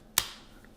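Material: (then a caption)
Chocolate. A piece of homemade dark chocolate is snapped once, giving a single sharp, bright crack that fades quickly. The crisp snap shows the chocolate is properly tempered, even though its holographic effect failed.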